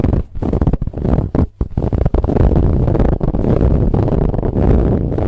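Long nails scratch along the ribs of a soft brown ribbed fabric pillow. The scraping is dense and low, a muffled rumbling rasp with almost no high end, running nearly continuously with only a few brief dips.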